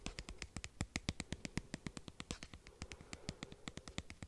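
Fingernails tap and scratch the surface of a small white plastic cosmetic squeeze tube with an orange cap, held in one hand close to the mic. About 35 quick, dry clicks follow one another in a rapid, uneven rhythm, each with a bright, crackly top and a soft low thump, dying away instantly with no ring. A faint scratchy rustle fills the gaps between taps.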